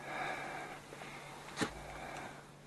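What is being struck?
Nothing is struck.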